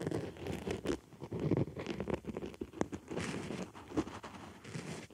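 A white foam makeup sponge rests on a microphone ear while a wooden stick scratches around and inside the sponge's hole. The result is close, muffled scratching and rustling with soft, irregular scrapes and a few brighter ticks.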